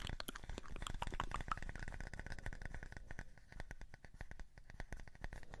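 A flat, round, light, solid wooden disc about the size of a palm is held in both hands and tapped and scratched with fingertips and short nails. The result is a rapid, uneven stream of quiet, dry taps with almost no ring, mostly low and dull, with a faint wooden tone near 1.3 kHz and soft scratchy texture between the taps.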